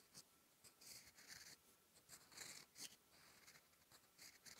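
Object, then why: Steel pen nib on thin writing paper. A steel fountain pen nib scratches strokes of Korean letters onto a thin sheet of lined writing paper lying flat. Short, bright, hissy scratches come in bursts with brief pauses between them, nearly all the energy sitting high with almost no low end. The sound stays quiet and close.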